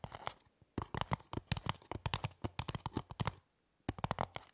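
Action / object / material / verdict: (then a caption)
scrape / polystyrene foam block / polystyrene foam / none. Long fingernails on both hands scratch and tap the top of a small, solid, rectangular white styrofoam (polystyrene foam) block lying on a table. The result is fast bursts of dry, squeaky, crunchy scraping with a low, hollow thump. The sound stops briefly twice before resuming.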